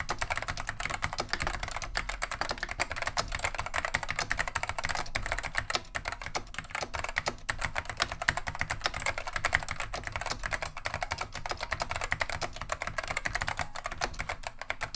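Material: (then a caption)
Plastic. Both hands type continuously with the fingertips on a beige plastic vintage Wang 725 mechanical keyboard fitted with Alps SKCM lime switches. It makes a dense, steady stream of sharp, bright clicks and clacks, each key ending quickly over a soft low thud.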